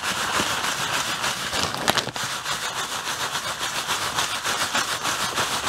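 A hand holds a clear plastic bag full of white artificial snow while fingertips squeeze and rub it, crinkling the plastic and shifting the granules inside. The result is a steady, bright, dense crackle with almost no low end and a short, sharper crunch near the two-second mark.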